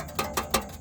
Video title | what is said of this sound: How to Find and Fix a Rattling Sound on Your Toyota Highlander or Any Car. | this heat shield has a bolt rotted out